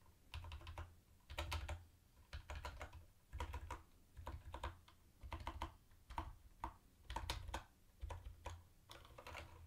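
Fingertips tap individual round white plastic keycaps on a mint-green plastic retro keyboard. The result is bursts of quick, dry clicks with a bright edge over a low thumping undertone, arriving in irregular clusters separated by brief pauses.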